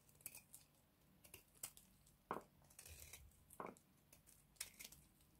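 A white, hand-sized bar of dry soap is held in one hand and shaved along its edge with a small box-cutter blade, breaking off crumbly flakes. Irregular dry scrapes and crunchy crackles come close up, some with brief bright edges and a few louder crisp snaps standing out.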